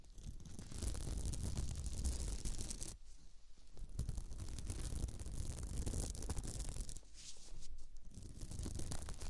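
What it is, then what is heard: Beaded placemat being scratched. Long nails on both hands scratch a round beaded glitter placemat with radial stitching that lies on the microphone. The result is a dense, continuous rasping and crackling with a heavy low rumble and bright grainy detail on top. The scratching briefly eases at about 3 seconds and again near 7 seconds.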